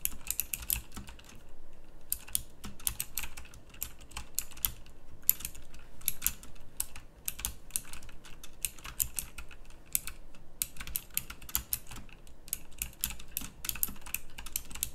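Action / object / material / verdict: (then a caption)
tap / mechanical keyboard with round plastic keycaps / plastic / none. Fingertips type steadily on a full-size backlit pink mechanical keyboard with round plastic typewriter-style keycaps and clicky switches. Quick, sharp, bright clicks come in dense bursts with short pauses, over a faint low hum.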